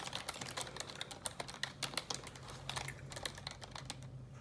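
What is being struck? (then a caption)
Plastic computer keyboard typed with fingernails. Long neon-yellow nails type rapidly on a black plastic computer keyboard, producing a quick, uneven run of sharp, bright taps and clicks that stop almost instantly. A faint steady low hum sits underneath.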